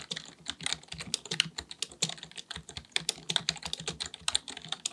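Fingertips of both hands type rapidly on a black full-size plastic computer keyboard resting on a desk. About thirty quick, bright plastic key clicks follow one another, each dying away almost instantly, with a soft low thud beneath them.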